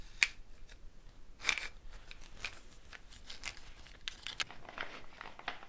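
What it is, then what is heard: Gourd shaker with wooden bead net. Fingernails pick at the wooden bead net on a hollow dried gourd shaker with a handle, making soft, bright clicks and dry rattles with a few sharper taps. The shaker is then raised and shaken, giving a quiet, crisp scatter of bead rattles that fade almost at once.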